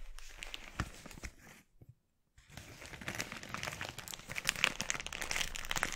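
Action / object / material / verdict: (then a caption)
scrape / thin polyethylene mailer bag / polyethylene / none. Fingertips pinch and crinkle an empty, glossy red, thin polyethylene mailer bag, spreading it out and then gathering it up on a wooden board. Bright, irregular plastic crinkles and crackles fill the clip, pausing briefly into near silence around the two-second mark. They then return denser and louder toward the end.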